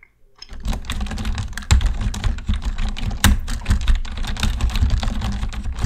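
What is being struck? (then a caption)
Plastic computer keyboard. Fingertips type on a black plastic computer keyboard, first with both hands and then with one. After a brief quiet start, a steady, rapid stream of short clicks and thuds follows, heavy in low thump with crisp bright tips on each keystroke, and every key sound dies away almost at once.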